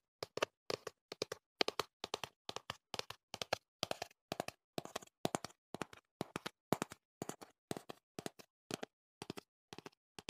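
Fingertips tap a slim, hollow, hand-sized cardboard product box printed in teal and black, held up beside the microphone. The taps come in quick bursts of two or three, each dry and short with no ring. They have a hollow midrange body and a crisp, bright edge, at a soft, steady level.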